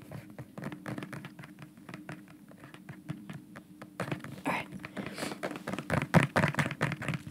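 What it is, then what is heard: Plastic bottle. A dark bottle with a white cap and white label, probably plastic, is held near the microphone and tapped quickly with the fingernails. Rapid, uneven, light clicking taps with a dull low body and almost no ring follow one another, growing louder and brighter in the second half.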